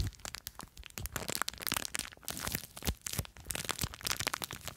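Long nails scratch and squeeze a small clear plastic bag full of blue foam beads. Dense, bright crackling and crinkling crunches come in quick, uneven bursts with no ring after each one.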